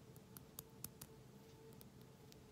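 Long manicured nails tap and scratch on a small, closed glass essential oil bottle with a black plastic screw cap and a light-blue label, held close. Six quiet, sharp, bright ticks stand out, with faint scratching between them over a low, steady background hum.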